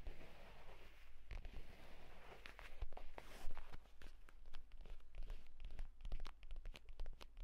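A purple leather folio tablet case is handled and then laid flat, and fingertips tap and scratch its leather cover. Quick, dry taps and scratchy rustles come in a busy, uneven stream over a low steady hum.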